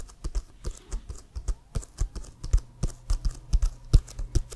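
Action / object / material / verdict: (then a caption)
tap / inflated leather football / leather / none. Fingernails tap rapidly on an inflated, hollow leather American football with the CFL logo, held upright. A quick, uneven run of short, dull, low thuds, each ending almost instantly with no ring.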